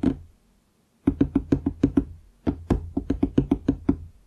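Fingertips tap on a large, solid wooden desk top near its lower edge, making 17 short, dry knocks with a woody tone around 270 Hz. A single tap comes first, then after a pause a run of seven and a run of nine quick taps follow, each dying away almost at once.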